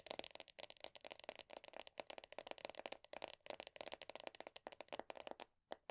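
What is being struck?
Plastic body butter tub with lid.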